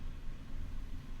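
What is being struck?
Nothing is struck.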